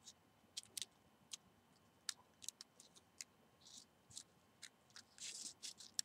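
A single dried cinnamon stick of hollow rolled bark is held in both hands while fingernails scratch and rub along its length. The result is a quiet series of sharp, bright, dry clicks and short scratchy rasps, with a few longer hissy scrapes and almost no low end.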